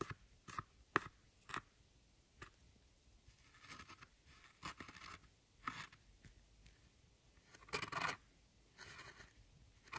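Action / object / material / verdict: scrape / pressed powder eyeshadow pan scraped with a metal tool / pressed powder / none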